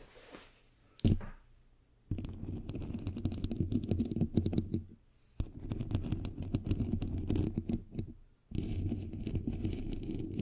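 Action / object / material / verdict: scrape / perforated metal microphone grille / metal mesh / none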